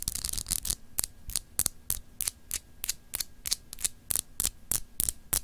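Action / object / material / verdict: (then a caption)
scrape / solid glass globe paperweight / glass / none. Long acrylic nails scratch across a palm-sized solid clear glass globe paperweight with an etched, textured surface, held in both hands. A quick, uneven series of short, bright scratching strokes repeats over a low, steady hum, each stroke stopping dead with no ring.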